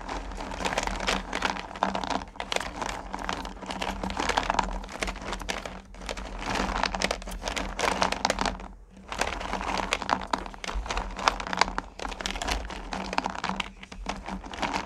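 Both hands grab and stir small, solid pumpkin candy corn in a purple plastic pail, making a dense, continuous rattling crunch of pieces tumbling and clicking against each other and the plastic. The clatter comes in bursts with brief lulls around the 6- and 9-second marks, over a faint steady low hum.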